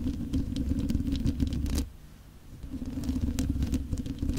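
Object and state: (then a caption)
Metal microphone grille tapped and scratched. Fingertips and nails tap and scratch directly on the mesh metal grille of a black condenser microphone while both hands are cupped around it. The result is a dense, boomy patter of taps and scrapes, heavy in low rumble with brief bright clicks, that drops to a quieter lull in the middle before the tapping builds back up.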